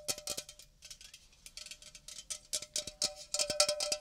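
Fingers tap an unopened aluminum Coca-Cola can full of soda, a container of liquid tapped for its rain-like sound. Quick, uneven runs of bright, crisp taps each carry a brief metallic ring around 600 Hz that fades almost at once.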